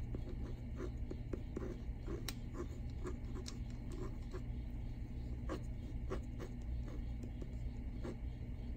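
Fingertips and short nails scratch and tap across the front cover of a solid hardcover library book, Come August, Come Freedom, lying flat on a desk, its paper dust jacket protected by a glossy plastic cover. Soft, quick clicks and dry scratching strokes sit over a steady low hum, each tap dying away almost instantly.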